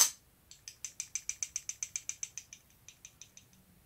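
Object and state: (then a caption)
Folding knife with a loose blade. A Kizer Begleiter XL button-lock folding knife, with a metal blade and lock, is shaken to show a fault. Its loose blade rattles in a fast, even series of sharp, high-pitched metallic clicks that fade toward the end. The rattle comes from heavy blade play, and the knife sometimes fails to lock up.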